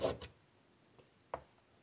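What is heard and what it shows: A hand draws curly lines with a stick of chalk on a large, flat black chalkboard in a light wood frame lying on a table. Two quick, dry scratching strokes come first, followed by a pause with a faint tick and then one more short, rubbing scrape. The strokes are soft and midrange with a little high, airy hiss, fading almost at once into quiet.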